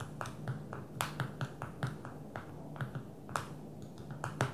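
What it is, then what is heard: Smartphone glass screen tapped with fingernails. Long fingernails of both hands tap on the glass touchscreen of a small black smartphone lying flat on a table. The result is an irregular series of short, dry clicks with a crisp tick near 1.3 kHz over a soft low hum, each tap dying away almost at once.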